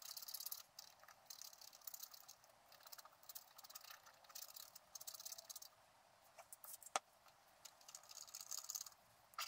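A thin wooden stylus held in the fingers scrapes the black wax coating off the squirrel outline on a flat scratch-art sheet from a book, a coloured garden picture underneath, lying on a table while the other hand holds the sheet. The scraping comes as quiet, bright, hissy bursts of fine scratching with brief pauses and one sharp tick near the end.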